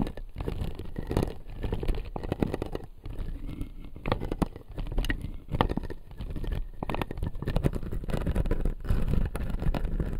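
Fingertips and nails scratch and tap the upper blue plastic teeth of a clear acrylic dental model. Dense, dry scratching is broken by many quick, close-up taps that stop dead with no ring. The sound is soft, low-heavy and steady throughout.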